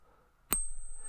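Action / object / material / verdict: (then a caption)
flick / silver coin / silver / real. A silver coin is pinged once, giving a sharp strike followed by a long, clear, high bell-like ring that lasts to the end of the clip. The tone marks it as real silver.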